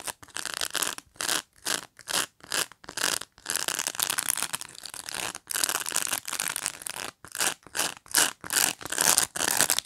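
Fingernails pinch and scratch along the edge of a black pet brush's plastic pin bristles in close-up. Short, irregular bursts of bright, dry scratching and rubbing noise follow one another with brief silent gaps, carrying almost no low end.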